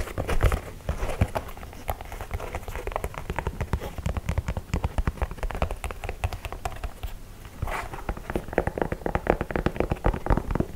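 Fingertips tap quickly on the leather toe box and side of an empty white low-top leather sneaker held close to the microphone. The taps are soft, dull and short, landing in a dense, steady stream of mostly low-pitched thuds, with slightly louder bursts near the start and again toward the end.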